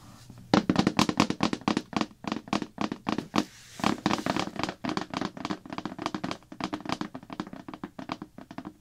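Long black-polished nails and fingertips rapidly tap and scratch the printed blue plastic lid of a large, hollow slime bucket. The result is a quick run of dull, hollow thunks and clicks with a low-mid body around 300 Hz and bright nail ticks on top. Each hit dies away almost instantly, with a brief pause near the middle.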